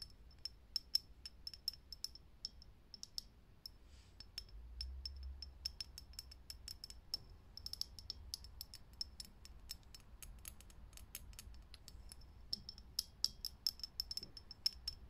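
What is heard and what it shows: Fingernails tap quickly and irregularly on a lit, hollow, clear glass vintage filament light bulb. Each tap is a short, bright click with a high glassy ping that dies away almost at once. Quieter and louder taps are mixed together over a faint low background rumble.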